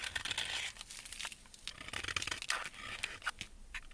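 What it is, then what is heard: Soap bar being scraped. A metal blade scrapes flakes from the edge of a solid white embossed soap bar held in a gloved hand. The result is a run of quick, crisp, crumbly scrapes and crackles with a bright, high-heavy texture and very little low end, each stroke cutting off sharply.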